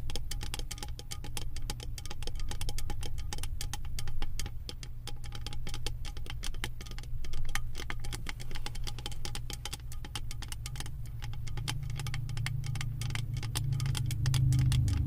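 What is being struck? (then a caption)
Beaded metal lid of a candle jar. Long acrylic nails tap and scratch a round, embossed metal lid studded with small metal beads on a full candle jar. The result is a fast, uneven stream of crisp, bright clicks and rattly scratches over a steady low hum around 125 Hz, with the hum swelling slightly toward the end.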